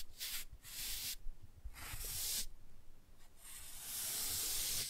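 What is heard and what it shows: A toothbrush brushes the glossy cover of a laminated cardboard board book, making bursts of bright, breathy scrubbing hiss with pauses between strokes. A low rumble sits underneath, and the final stroke is longer and steadier.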